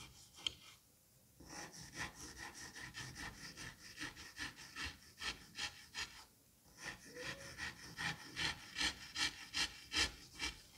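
A hand drags a white-handled metal scalpel across a flattened mound of green kinetic sand, scraping and cutting the surface. It makes a steady run of bright, gritty rasping strokes at roughly two to three per second, with two brief quiet gaps near the start and the middle.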